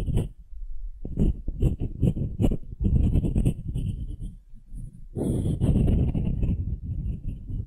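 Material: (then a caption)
Wood. Long nails scratch and tap the end-grain face, marked with rings, of a solid pale wooden cube. Dull, low knocks and rough scratching come in quick, uneven bursts, ease into a quieter patch, then return as denser, continuous scraping.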